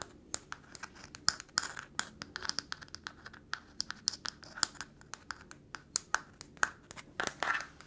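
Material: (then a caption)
Nutshell. A single small, round, tan walnut in its hard shell is held up in one hand while the long nails of the other hand scratch and tap the shell. The result is a quick, uneven run of dry, bright scratches and sharp clicking taps. Each tap is very short, with no low rumble and no ring.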